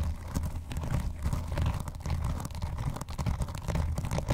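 Fingernails scratch the front edge and lower cover area of a closed blue vinyl binder lying on a box. The result is a steady run of short, rough, dull scraping strokes, heavy in low tones with very little brightness.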